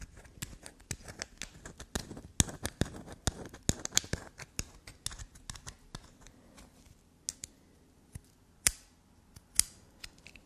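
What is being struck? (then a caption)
Solid black soap bar scratched and tapped with nails. A small, solid black soap block with a rough carved surface, held in the hand, is scratched and tapped by long, black, glossy nails. Quick, dry clicks and scratches come in a dense burst for the first half, then thin out into sparser, sharper taps with bright, crisp edges. Each tap stops almost at once, with no ring.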